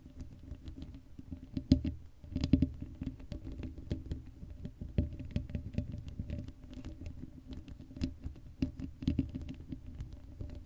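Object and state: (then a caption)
Metal mesh microphone grille being scratched. Long acrylic nails scratch the hollow black metal mesh grille of a Blue Yeti microphone with no cover on it. The result is a dense, continuous patter of short scratchy taps and rasps, heavy in low rumble with a faint hum near 266 Hz. A few louder scrapes stand out from the steady scratching.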